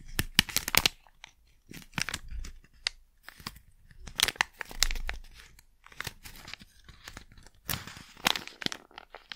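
A small crinkly plastic Blu Tack packet is crumpled and crinkled in the hand close to the microphone. Bright, crackly crinkles come in irregular bursts with short quiet gaps between them.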